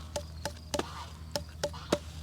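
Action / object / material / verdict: tap / watermelon / fruit / unripe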